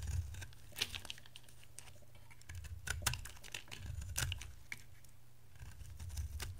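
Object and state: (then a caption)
Dry bar soap being shaved. A metal utility knife blade shaves thin flakes from a palm-sized oval bar of dry soap, white with a blue-teal layer, held in one hand. Dry, crisp scraping and crackling bursts with bright, high edges come in irregular clusters over a steady low hum. Each short, sharp scrape fades almost at once.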